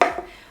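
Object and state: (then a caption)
Empty takeaway coffee cup, hollow sound. An empty takeaway coffee cup is struck once, giving a single short, hollow knock with a mid-pitched ring that fades within a fraction of a second. The sound is hollow because the empty cup has its weight on the outside with nothing inside the center to weigh it down.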